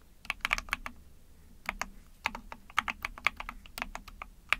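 Rapid typing with long painted nails and fingertips on an Epomaker TH40, a small backlit 44-key mechanical keyboard with an ABS plastic case, PC plate and pink and white keycaps. About twenty short, bright, clicky clacks come in quick bursts with a brief pause near the middle. There is little low end and no ring after each press.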